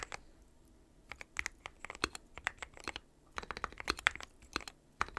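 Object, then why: Mechanical keyboard with plastic keycaps. Fingertips of both hands type continuously on a dark metal-cased mechanical keyboard with white and pastel plastic keycaps. Quick, sharp, bright clacks come in irregular bursts with brief pauses, each dying away almost instantly, with little low end.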